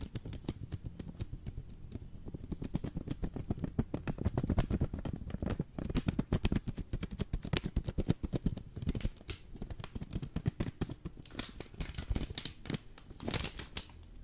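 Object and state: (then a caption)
Vacuum-packed coffee brick in foil. Fingertips and nails tap quickly on the flat sides and top of a full Jacobs vacuum-packed coffee brick in green foil. The result is a dense, uneven stream of short, dry, low thuds with occasional bright, crisp foil clicks and no ring after each hit.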